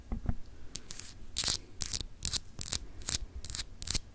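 Long acrylic nails scratch across a small, solid, clear etched glass globe paperweight. The result is a series of short, dry, bright scraping bursts, each with a hissy high edge and very little ring, with a soft low rumble underneath.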